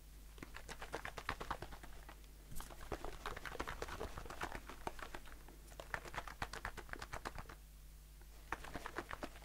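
A blue aluminium aerosol can of shaving foam with a plastic cap is held in the hand and tapped quickly with the fingertips and short nails. The result is rapid bursts of light, dry, clicky taps with a hollow ring around 1.1 kHz, separated by short pauses. A faint steady low hum sits underneath.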